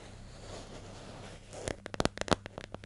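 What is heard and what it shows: Long nails scratch softly across the lid and label of a hollow, medium yellow plastic hair gel jar with a screw lid, held in the hand, making a quiet, grainy rustle for about a second and a half. Then about ten quick, sharp, dry taps with a bright click and almost no ring follow over the lid and label, while a faint low hum runs underneath.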